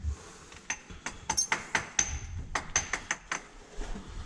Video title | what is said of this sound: Aventure Spéléo : Gouffre dans l'Yonne | Ça sonne creux partout? Non, ça sonne pas creux.